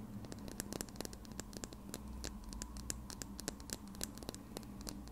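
A small plastic lip gloss tube, held horizontally in front of the recorder, is tapped and scratched with red nails. Quick, dry clicks with bright, high edges come in a rapid, uneven patter over soft scratching and a low steady hum.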